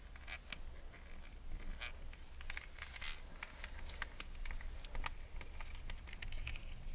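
Long red nails scratch along the coiled edges of a pair of espadrilles with thick jute rope soles. Quick, dry, bright rasps and crackly scratches repeat steadily over a low, constant rumble.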